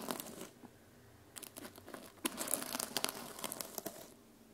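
Fingertips and nails scratch and brush the teal plastic sequins on the cover of a small sequin-covered fabric journal held on a table. Bright, crinkly scratching bursts open the clip, pause briefly, then return in a denser run of sharp rustles and clicks before fading out.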